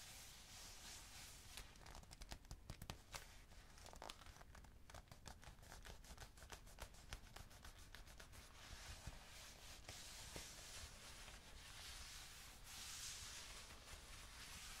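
Fingers rub and scratch along the smooth leather of a black leather jacket sleeve stretched out toward the camera. The quiet, steady texture is a bright, hissy scrape with dense, rapid ticks and crinkles. The contact clicks are sharper through the first half, easing into a softer, continuous rubbing toward the end.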